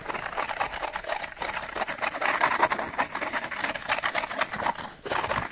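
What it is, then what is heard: Empty cardboard light bulb box. An empty, hollow, open-ended Panasonic light bulb box, a small rectangular package of printed cardboard, is scratched quickly with fingernails on its printed sides. The result is a dense, continuous run of rapid, papery scratching centered in the midrange around 1 kHz, with almost no low end and a brief dip just before the five-second mark.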